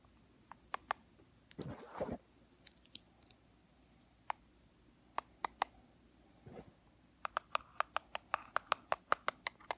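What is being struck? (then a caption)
Small plastic powder compact. Long fingernails and fingertips tap a small, flat, black plastic Fit Me pressed-powder compact with a hollow case. Sharp, bright clicks ring at about 1.2 kHz and die away almost at once. Scattered single taps and two brief scratchy rubbing bursts give way to a quick, steady run of taps at the end.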